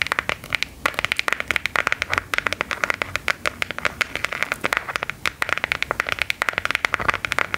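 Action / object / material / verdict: tap / smartphone in a hard plastic case / plastic / none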